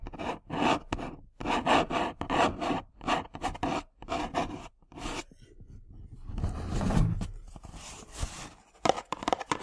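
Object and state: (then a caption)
Cardboard tea box scratched with nails. A small, hollow printed cardboard tea box sits on a table and is then held in both hands while long nails scratch and rub its surface. Short bursts of dry scratching come in quick succession, followed by a longer, lower rubbing stretch and a few final scratches.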